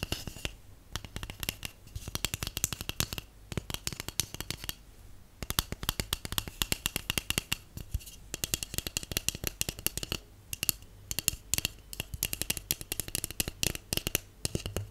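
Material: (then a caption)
Cardboard. Long acrylic nails and natural nails tap rapidly on a large, empty, hollow white cardboard tube held at an angle. The result is bursts of short, dry, bright clicks with almost no ring, separated by brief pauses, over a faint low hum.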